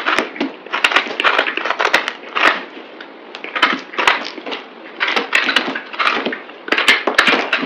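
A palm-sized, solid green speckled bar of soap is cut and scraped into flakes with a utility knife blade, sped up to double speed. Bursts of crisp, dry scraping and crunching come in quick runs, broken by sharp bright clicks and cracks as the blade cuts through.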